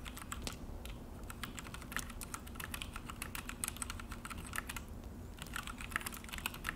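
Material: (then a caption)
Plastic. Both hands tap steadily with the fingertips on a full-size Akko mechanical keyboard on a desk, with an orange plastic case and black plastic HyperX keycaps. The result is a quick, continuous run of short, bright plastic clicks and clacks that stop almost instantly, over a steady low hum.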